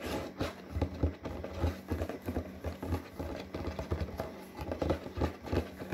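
Long fingernails scratch and rub across a glossy printed paperboard box for a snack-maker product. The result is a steady run of dull, muffled scraping strokes with a low, thumping body and very little brightness. Each stroke fades quickly over a constant low rumble.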